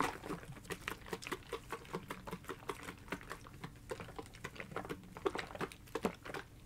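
A blue hard-plastic gel ice pack, held in both hands, is tapped rapidly with long fingernails. The result is a steady patter of quick, light, sharp clicks with almost no ring.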